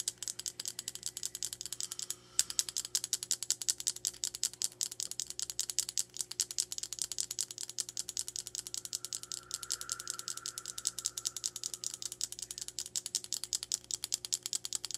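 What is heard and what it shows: Long nails tap rapidly on the surface of a small black rectangular hard plastic makeup case held horizontally. The result is a dense, uneven stream of sharp, bright clicks that die away almost instantly, over a faint steady hum and a soft tonal whine partway through.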